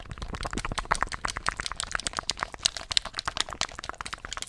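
Fingertips click the buttons and tap the shell of a handheld black plastic gamepad. A rapid, uneven run of many sharp, dry clicks and taps carries through the clip, bright and light in tone with almost no ring after each hit.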